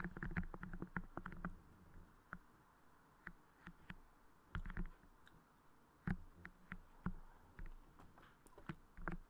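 Fingertips and nails tap, press and squish a transparent, soft crystal clay putty moulded over the head of a Blue Yeti microphone. The result is quiet, low, muffled thumps and sticky squelching clicks in irregular bursts, each dying away almost instantly, with brief pauses of faint rumble between them.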